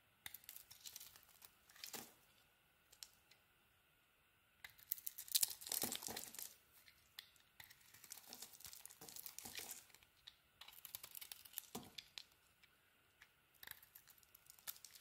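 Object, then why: Soap bar. A utility knife blade carves shavings from a hand-sized, solid orange bar of soap with a shiny purple coating. Dry, bright scraping and crisp crackling come in bursts separated by brief quiet gaps, with the loudest stretch in the middle, as orange shavings peel away.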